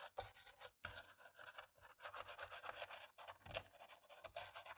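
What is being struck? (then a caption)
Plastic laptop keyboard. A cotton-tipped thin stick, held by a hand with long nails, scrubs between the keys of a black plastic laptop keyboard. The result is a steady, bright, scratchy rasping of quick rubbing strokes with almost no low end, broken by a few brief pauses.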